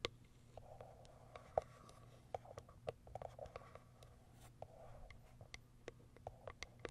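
Long acrylic nails tap the top and plastic window of a small white Kiara Sky cardboard box. The result is quiet, irregular, sharp clicks with a hollow midrange knock and bright ticks, separated by a soft rustling scratch and low background hum.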